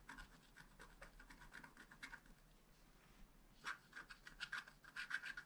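A wooden stylus scratches and rubs the coating off a flat black scratch art card made of wax-coated paper. It makes short, dry, papery scratching strokes with a bright edge centred around 1.5 kHz. The strokes are soft and scattered at first, then become louder and denser in the last two seconds.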